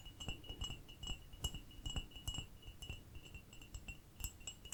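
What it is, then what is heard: Ceramic cup. A small ceramic cup is tapped in a quick, uneven series of light taps. Each tap gives a short, bright, chime-like ring over a low background hum.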